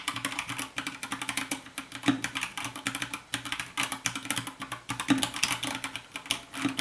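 Fast two-handed fingertip typing on a compact 60% white plastic mechanical keyboard with a hollow case. It produces a dense run of short, bright, clacky keystrokes with almost no ring. A faint low musical tone hums steadily underneath, possibly soft lofi music.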